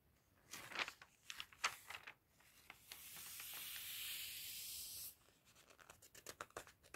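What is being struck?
Glossy paper catalog.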